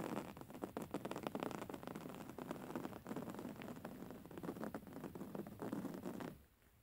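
Long fingernails of both hands scratch the surface of a soft, filled, grey woven-fabric pillow, making a dense, continuous run of fast, dry, rustling scratches centered in the low-mid range. The scratching continues steadily for about six seconds, then stops, leaving near silence.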